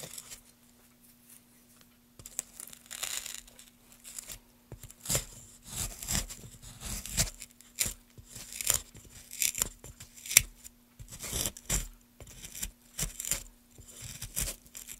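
A small metal gouge carves along the top of a solid pine block held in a gloved hand. Repeated short, bright, scratchy tearing strokes shave the wood after a quiet start, over a faint steady low hum.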